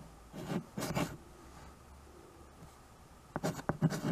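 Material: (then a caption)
Chalk. A white chalk stick writes and scratches on a small tabletop chalkboard, a dark painted board in a wood-look frame. Two soft, rough, low-toned strokes come early, then a long quiet pause, then a quicker cluster of sharper scratches and taps near the end.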